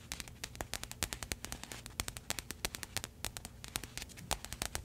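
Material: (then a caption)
Plastic. A pink printed plastic package, held close to the microphone, is tapped and scratched with paperclip fake nails. A rapid, uneven series of sharp, bright clicks sits over a constant crinkly rustle and a faint low rumble, and each tap dies away almost instantly.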